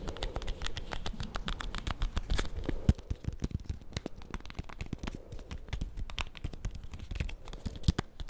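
A small solid bar of soap in a white paper wrapper, held in the hands close to the mic, is tapped and scratched quickly with fingernails on the paper. The result is a dense, steady run of short, dry taps with crinkly paper scratching, heavy in low thuds with little high-end brightness.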